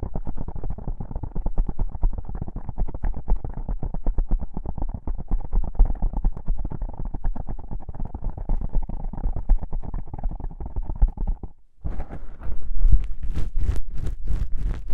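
Long pink-painted nails scratch two small black foam windscreen covers on a binaural microphone, making a dense, rapid run of low, muffled scratching and thumping. Near the end the sound briefly drops out, then returns as sharper, brighter strokes with more high-end hiss.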